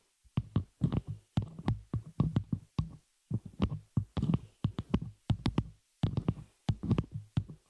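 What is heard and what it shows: Long nails on both hands tap and scratch the hollow open frame of a small metal spider-cage shock mount holding a microphone. The result is a quick, irregular run of soft, dull thumps, deep and boomy with a low hum around 137 Hz, each dying away almost at once. Faint bright scratchy ticks ride on top, with brief silent gaps between clusters.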